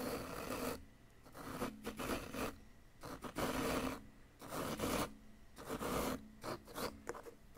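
A wooden chisel scrapes grooves into the side of a solid yellow-green plaster dig-kit excavation block, piling up plaster powder. Short, rough, gritty scraping strokes come in uneven bursts separated by brief quiet gaps.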